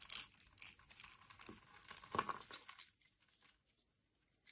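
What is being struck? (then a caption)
Bar of soap. A solid orange bar of soap, held in the hand, is scraped with a metal blade into crumbly granules while a teal soap bar lies nearby untouched. Dry, bright crunching and tearing scrapes come in quick rough strokes, with a slightly louder crunch near the middle. The sound fades to near silence after about three seconds.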